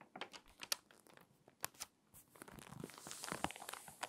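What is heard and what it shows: A hand rubs the pages of an open, water-damaged glossy paper magazine whose pages are stiff and crinkly, then turns a page and presses it flat. Quiet, bright crinkling is broken by sharp, dry crackles, then swells into a broader, steady rustle as the page is turned and smoothed down.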